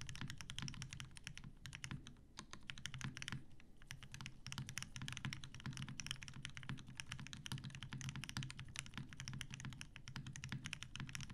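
Continuous two-handed fingertip typing on a TGR Jane V2 mechanical keyboard with 63.5g Tealios switches, cream and grey PBT plastic keycaps, and a dark grey metal case. Rapid, steady keystrokes land as short, dry clacks with a deep, muted body and bright crisp ticks on top, each dying away almost instantly.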